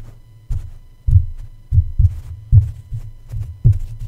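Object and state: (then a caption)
Metal microphone mesh grille tapped with a plush toy. A soft plush Snoopy toy's paw taps and pats on top of the hollow black metal mesh grille of a red USB condenser microphone. Eight muffled, deep thumps are heard, each with a short boom and quick decay over a low hum.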